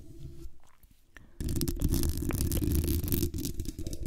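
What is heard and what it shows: Long acrylic nails scratch and tap the hollow metal mesh grille and base of a black condenser microphone. Quiet, scattered taps and light scrapes open the clip, then at about 1.4 s a loud, dense, continuous scratching starts with a heavy, rumbling low end and crackly bright texture. It briefly dips near 3.3 s before continuing.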